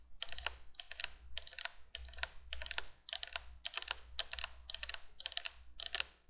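Long nails tap quickly on the hollow plastic candle tubes of a plastic window candolier, then move to its flat plastic base. The result is bursts of sharp, dry, bright clicks with almost no ring, over a faint low hum.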